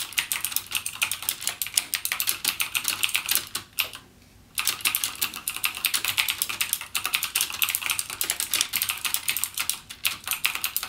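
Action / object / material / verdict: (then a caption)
tap / mechanical keyboard with plastic keycaps / plastic / none. A backlit mechanical gaming keyboard with plastic keycaps and clicky Cherry MX Blue switches is typed on continuously by fingertips. The rapid, bright clicks run steadily for about 3.5 seconds. They stop for a short pause near the 4-second mark, then resume at the same pace to the end.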